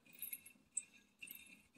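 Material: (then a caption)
Die-cast metal. A 1992 Racing Champion NASCAR die-cast metal toy car (Dover Downs), new but rattling from loose parts, is shaken, giving bright, high metallic rattles in three bursts with a sharp click between them. The rattle is put down to age: the car still rolls and is not a bad roller.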